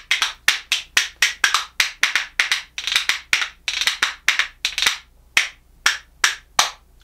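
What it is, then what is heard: Hinoki cypress wood percussion spoons. A pair of light-coloured solid hinoki cypress wood percussion spoons, held in one hand, is knocked together against the palm in rhythm. The result is a fast run of bright, dry, woody clacks with very short decay. The clacks space out into a slower, evenly spaced beat near the end.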